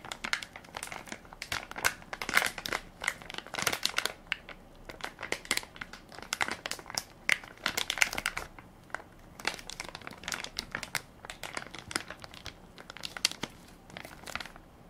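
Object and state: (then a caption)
Plastic baby wipes pack. A full soft plastic-film baby wipes pack with a plastic lid is held in one hand while fingertips and nails crinkle and scratch its film top. Dense, dry crackling bursts come in uneven clusters, bright and crisp with almost no low end and no ring after each crinkle.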